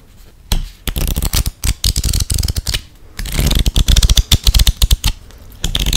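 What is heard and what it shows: A full hand-sized deck of coated-paper UNO playing cards (Family Guy edition) is held in both hands and riffled and flicked through with fingertips and long nails. Crisp, papery flutters and snappy flips come in quick bursts with brief quiet gaps, bright at the top with a soft low thump beneath. A denser, louder run of rapid flicks fills the second half before a last riffle at the end.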